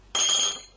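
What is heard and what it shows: A 7.5 cm jumbo magic coin made to look like a real quarter, solid heavy metal, is tapped once on a table. It gives a bright metallic ring with a strong high tone around 3.3 kHz. The ring rings out full for about half a second before fading.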